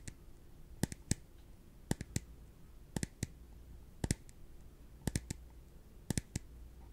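A small, translucent, empty clear plastic cup is held in one hand and tapped with the fingertips of the other. Sharp, dry, bright clicks come in short clusters of two or three roughly once a second, each dying away instantly with no ring. A faint low hum sits underneath.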